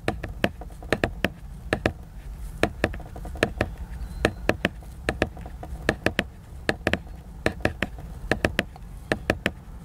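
Fingertips tap the glossy laminated paper cover of a large picture book in an irregular rhythm, about 32 taps. Each tap is a short, dry knock with a bright click and a soft low thump that dies away almost at once, over a faint low rumble.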